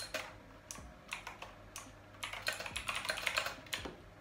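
Fingertips type quick presses on the hollow key switches of a full-size pink plastic Razer BlackWidow V3 Quartz mechanical keyboard with a solid body, lying on a bed. Bright, sharp clicks come in an irregular rhythm, sparse at first and then bunching into a faster flurry of overlapping taps. Each click decays quickly.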